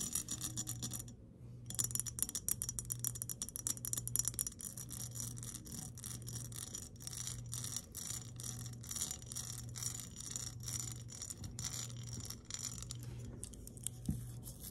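Long nails tap and scratch an empty embossed glass mason jar in rapid, dense clicks with a bright glassy ring. A steady low hum runs underneath. The jar is then lifted and tilted in hand.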